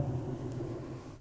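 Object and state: Nothing is struck.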